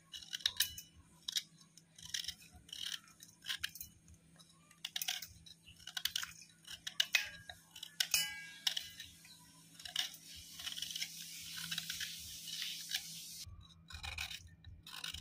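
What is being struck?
Chalky white slate clay block scraped with a knife.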